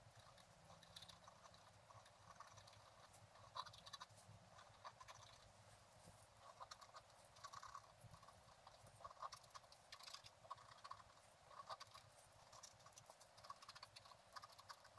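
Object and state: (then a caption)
Scratch art paper being scratched. A wooden stylus scratches the coating of a flat, black-coated scratch art card resting on a table. Quiet, dry, bright scratching comes in short, irregular strokes with a steady hiss and a faint low hum underneath.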